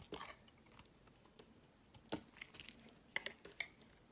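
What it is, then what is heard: Bar of soap being carved. A metal blade cuts and shaves slices off a solid dark grey bar of soap held in both hands. Quiet, crisp scraping and crunchy clicks come in short bright bursts, with sharper snaps near the middle and end. Each sound dies away almost instantly.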